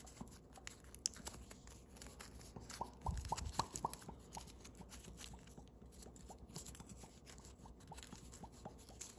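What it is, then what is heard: Foil origami paper being creased. Thin holographic green-blue foil origami paper, a partly folded crane, is pressed and creased between fingertips and thumbnails. Quiet, dry crinkles and short bright ticks repeat irregularly over a low background hush. A denser, louder cluster of crackling comes around the middle before settling back to soft, scattered creasing.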